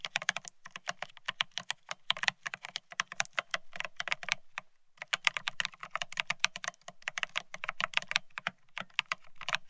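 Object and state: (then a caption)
Mechanical keyboard with ceramic keycaps. Both hands type rapidly with their fingertips on a Bear65 mechanical keyboard fitted with blank white matte ceramic Cerakey keycaps on a steel plate, resting on white cloth. The result is a fast stream of short, bright, clacky keystrokes with a low thock under each press and a brief pause about halfway through.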